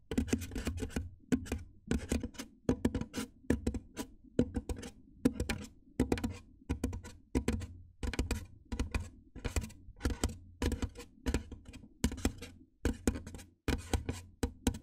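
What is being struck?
Styrofoam foam box.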